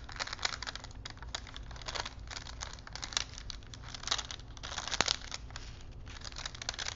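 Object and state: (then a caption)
Paper film strip on wooden spools, crinkled. A thin printed paper film strip on small wooden spools is rolled between fingers, its paper crinkling. Dense, bright crackles and rustles come in uneven bursts throughout, with a sharper snap near the fifth second.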